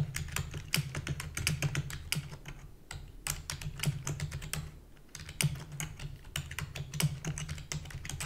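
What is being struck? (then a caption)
Plastic computer keyboard. Rapid typing with long fingernails and fingertips on a full-size black plastic keyboard with a hollow body. Dense, fast clicks and taps come in quick bursts with brief pauses, each a sharp, bright tick over a low, hollow thud.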